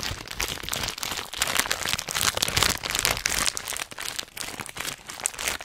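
A filled, hand-sized Hot Nuts snack bag of metallized plastic foil is crinkled and squeezed with the fingertips of both hands. The result is a dense, irregular stream of bright, crackly crinkles and crunches with very little low end. The sharp bursts die away almost instantly.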